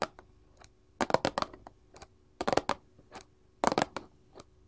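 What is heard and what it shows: Long gold filigree metal claws on both hands tap a small printed paperboard candy box resting on a table. The taps come as quick, dry clicks with almost no ring, grouped into three dense bursts between scattered single taps, with a faint steady hum underneath.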